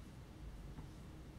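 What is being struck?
Nothing is struck.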